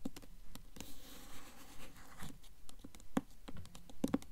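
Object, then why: Hardcover book with paper dust jacket. A blue Mockingjay hardcover book with a glossy paper dust jacket is held upright while long nails tap and scratch its front cover. Sharp, dry clicks come in an uneven patter, with a soft, hissy scratching stretch in the middle. The sound is quiet and close, mostly low-bodied with brief bright edges on the taps.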